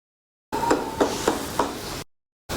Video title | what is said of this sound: 100프로 경험 노하우 꼭 알아야 할 투자 노하우. 수익형 부동산 투자 포인트 알려드립니다. - 돈금술사_족장TV | 벽을 두드리는 이유는 이 벽을 철거할 수 있을까 없을까를 알아보기 위함입니다